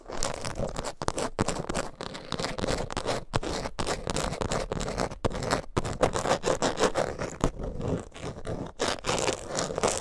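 Long nails scratch rapidly across the face of a closed coated canvas zip wallet with a leather and zipper edge, held upright. The result is a dense, continuous rasping scrape with a mid-range tone around 520 Hz, broken by brief near-silent gaps between bursts of strokes.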